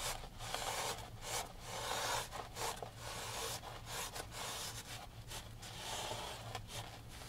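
A gloved hand wipes the painted surface of a large oil painting on canvas, hanging upright in a dark wooden frame, with a grey microfiber rag. It produces a continuous soft, bright rubbing and swishing with uneven strokes and brief pauses, over a steady low hum.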